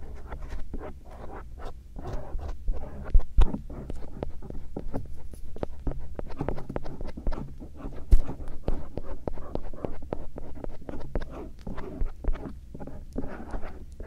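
A bamboo earpick rubs and scratches the folds of a soft silicone ear shell near the canal on a binaural microphone. The result is a steady run of close, soft scratching and brushing strokes over a low rumble, with a few louder thumps.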